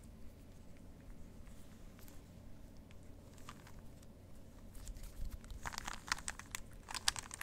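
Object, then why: Plastic puzzle cube. A plastic Rubik's cube is held in the hands while fingertips twist its faces. A quiet low rumble runs through the first half, then a run of short, dry, bright plastic clicks and clacks builds up and grows louder toward the end.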